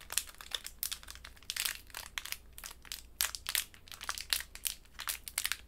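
A small pink wrapped candy in a crinkly plastic wrapper is held between the fingertips and squeezed and crinkled with long white nails. It gives a steady run of sharp, bright crackles and rustles with quick, dry decays and almost no low end.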